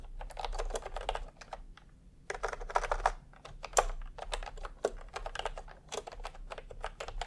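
Fingertips of both hands type continuously on a full-size pastel typewriter-style keyboard with round plastic keycaps in a hollow plastic case. The result is a steady stream of short, clacky plastic key taps with a hollow tone centered around 740 Hz, arriving in dense bursts separated by brief pauses, with little ring after each stroke.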